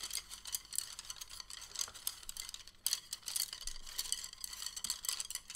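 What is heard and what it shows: A bundle of thin, solid, patterned wooden chopsticks is held in both hands and rubbed and rolled together with the fingertips. It makes a quiet, continuous stream of dry, bright clicks and scratchy rattling, with short taps that die away almost instantly and little low end.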